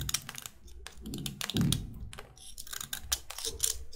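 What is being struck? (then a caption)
Chalk stick scraped with a metal blade. A metal utility knife blade scrapes along the length of a solid white chalk stick with a flattened face. It makes a quick run of short, dry, bright scratching strokes over a low rumble, with a heavier, fuller scrape about midway through.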